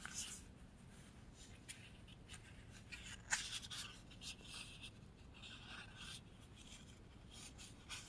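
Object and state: Printed paper sheet.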